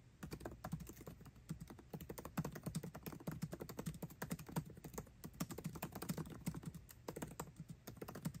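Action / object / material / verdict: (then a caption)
tap / laptop keyboard with plastic keycaps in an aluminium body / plastic / none. Fingertips type fast on a MacBook Pro keyboard with plastic keycaps set in an aluminum body. The result is a dense, steady stream of short, soft clicks with a low, muted thud in each keystroke and a quick, dry decay, lasting the whole 8.5 seconds.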